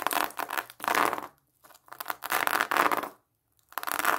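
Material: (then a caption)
Plastic mesh. Long nails tap and scratch over a large whole pomelo wrapped in a yellow-orange plastic mesh net with a red ribbon, held in front of the chest. The result is bursts of dry, crinkly scratching and rustling with short silent pauses between them.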